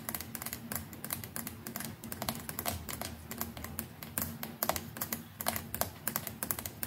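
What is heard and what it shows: Long nails rapidly tap the hollow plastic neck near the brush head of a white plastic electric toothbrush. The result is a dense stream of sharp, bright clicks that sounds much like typing on a keyboard, over a faint steady low hum.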